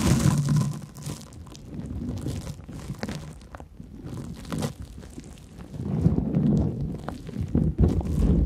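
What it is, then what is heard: Cellulose sponge being scratched. Long nails scratch a large, porous yellow cellulose sponge with big holes, producing a dense run of low, muffled crunching and crinkling scrapes. The scratching is loudest at the start, eases to a softer rustle through the middle, then grows louder and busier again toward the end.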